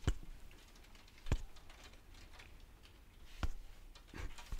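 A small round NYX loose face powder jar, a white plastic body with a black lid band, is held up and tapped repeatedly with long fingernails and fingertips. The result is sharp, dull plastic taps at an irregular pace, each dying away almost at once, with faint soft clicks in between.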